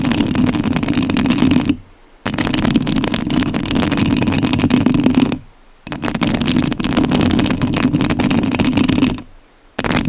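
Long nails scratch the metal mesh grille of a rhinestone-covered studio microphone in three sustained passages separated by brief silences. The scratching is a dense, crackly rasp that spans low to bright tones, with a strong warm buzz underneath.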